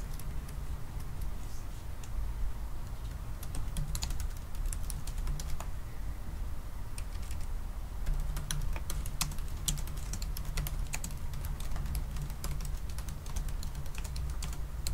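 Both hands type continuously with their fingertips on a silver aluminium laptop keyboard with black plastic keys. Quick, dry, bright clicks patter in irregular bursts over a steady low hum around 78 Hz, with no pauses long enough to break the rhythm.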